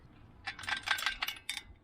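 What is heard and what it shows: The metal crankcase of a 1974 Tecumseh 7HP mower engine from a John Deere 56, with the main part of the engine removed, is shaken by hand as a test. It gives a quick series of short, bright metallic rattles that die away almost instantly. The rattling shows something inside is broken, which glistening metal flakes in the drained oil back up.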